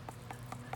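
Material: Melon rind.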